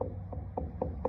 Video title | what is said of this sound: Repair Rotted Post on Pole Barn by yourself | as you can hear down here it it seems a little more solid